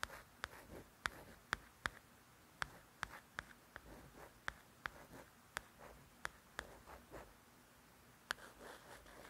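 Crisp nail clicks and soft scratchy swishes on a glossy paperback cover, quiet and close.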